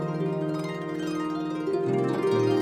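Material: Nothing is struck.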